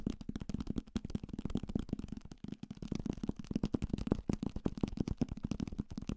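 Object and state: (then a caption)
Paperback book. A thick paperback copy of Salem's Lot, a solid paper block with a card cover, is held in the hand and rapidly tapped with fingertips and nails on the spine and page edges. The result is a fast, irregular flurry of short, dull taps centered low around 200 Hz, each dying instantly with no ring, with a brief lull about midway before the tapping resumes.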